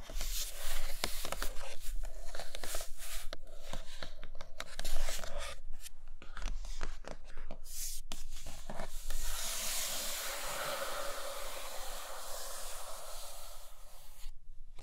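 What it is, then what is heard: Cardboard box. Long nails tap rapidly on the top and sides of a large, flat, printed cardboard iPad Pro box that is closed and hollow, producing short, dry, papery clicks over a low steady hum. About two-thirds of the way through, the tapping gives way to a steady, bright, hissing scratch of the nails dragging across the cardboard.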